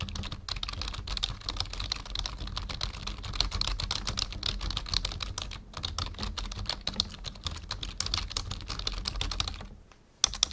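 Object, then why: Plastic membrane computer keyboard. Fingertips type steadily on a full-size black plastic membrane computer keyboard resting on a wooden desk, producing a dense stream of short, bright plastic key clicks over a low thudding bottom. The typing runs almost continuously, falls silent for a moment near the end, then resumes with a few sharp keystrokes.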